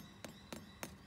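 A wattleseed damper cooked on the barbecue is tapped three times to check whether it is done, giving short, dull, slightly hollow knocks that die away almost at once. The hollow sound shows the damper is baked through.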